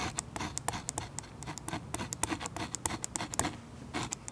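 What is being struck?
Oil pastel wax layer on paper scratched with a metal tip.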